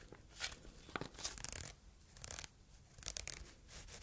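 A small red-and-white polka-dot fabric bow tie, held in the fingers, is rubbed and scratched with long red nails. Quiet, bright scratching and rustling come in short bursts, with crisp high scraping strokes that stop dead without ringing.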